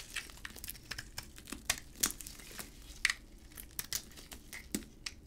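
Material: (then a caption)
Soap. A utility blade scrapes crumbly flakes off a solid green dry hard soap bar with a white interior, held in a gloved hand. A quick series of crisp, bright crackling scrapes and crunches pops out over a quiet background, each one short and dry with almost no ring.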